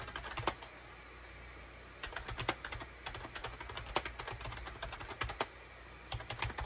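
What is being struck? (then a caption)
Plastic computer keyboard. Fingertips type rapidly on a full-size gray and cream SHIPADOO K600 wired USB plastic keyboard, with a hollow plastic case and keycaps, resting on a desk mat. Bursts of quick, bright, clacky keystrokes with very short ring alternate with brief pauses. A faint low hum runs steadily underneath.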